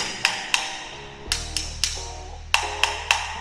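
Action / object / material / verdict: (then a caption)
tap / ceramic floor tile / ceramic / hollow. A key taps a ceramic floor tile eight times, each tap a sharp, bright, hollow click with a short ring, while a low steady hum runs underneath. The tile sounds badly hollow, a defect to mark with a sticker and claim from the developer.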